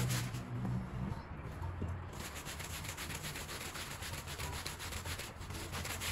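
A long-handled green push broom with stiff bristles scrubs a small woven rug soaked with muddy, soapy water. The result is a steady, rhythmic wet swishing and rasping, with bright bristle noise over a low rumble that holds at an even level throughout.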